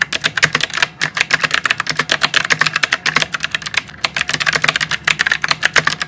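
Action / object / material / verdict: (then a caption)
tap / plastic mechanical keyboard with round keycaps / plastic / none. Both hands type steadily with their fingertips on a white plastic mechanical keyboard with round typewriter-style keycaps. A fast, continuous stream of crisp, clicky keystrokes rings out, each one short, bright and sharp with almost no low end. There are only two brief slowdowns, near the one- and four-second marks.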